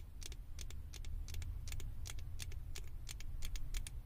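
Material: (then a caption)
Plastic. Long acrylic nails tap and scratch the ears and head of a small, hollow, blue plastic Stitch figure topper fitted on a microphone. Quick, bright, dry clicks and scrapes sit over a steady low rumble throughout.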